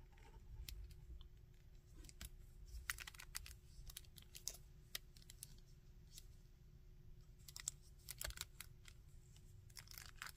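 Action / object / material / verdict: tap / small plastic action figure / plastic / none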